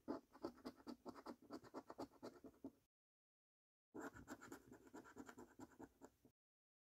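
A coin scratches the latex-coated number panels of a thin, flat paper £15 "3x £1 Million Snack Stack" National Lottery scratch card. Quick, dry rasping strokes come in two bursts separated by a second of silence, each stroke short with almost no ring.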